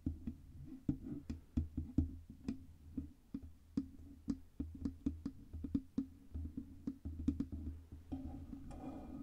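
Long red nails tap rapidly on the sides and front of a black Blue Yeti microphone, a USB microphone with a hollow metal cylindrical body. About 33 sharp, clicky taps ring out briefly over a steady low hum. In the last second the taps give way to a denser, scratchier sound.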